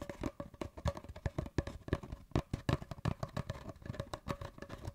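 An empty, hollow brown cardboard paper towel tube is held across the microphone with both hands and tapped and scratched with fingertips and nails. The result is a rapid, irregular stream of soft, dull, hollow taps with a low, boomy body and almost no ring. Light scratchy rustles fill the gaps between them.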